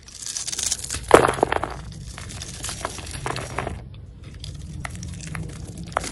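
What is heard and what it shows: A utility knife blade scrapes scored cubes and strips off a solid green Marseille soap bar held in the hand. Dense, crisp crunching and crumbling scrapes fill the clip, with the sharpest burst just after the first second. After a brief pause near four seconds, quieter scraping resumes.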